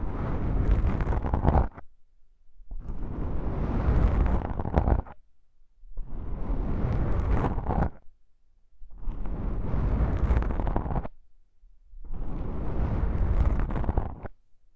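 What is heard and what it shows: A long pink-nailed fingertip presses and scratches between the two capsules of a stereo microphone fitted with a pair of small, soft, porous black foam windscreens. Five separate bursts of deep, muffled rumbling and crackly scraping are heard, each lasting about two seconds with short silent gaps between them.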